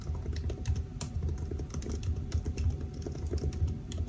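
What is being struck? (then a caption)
Laptop keyboard, plastic keys in aluminium body. Fingertips of both hands type continuously on the black plastic keys of a silver aluminium laptop keyboard. The keystrokes are a dense, steady stream of soft, low, muffled taps, each dying away almost at once, with only faint brighter clicks on top.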